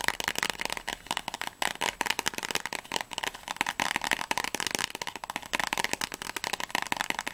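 Long natural fingernails rapidly tap and scratch a small, closed, printed cardboard box of Paracetamol tablets held in both hands, probably with blister packs inside. The result is a dense, fast run of crisp, dry clicks and papery scratches. The sound is bright and sharp, with almost no low end and no ring after each tap.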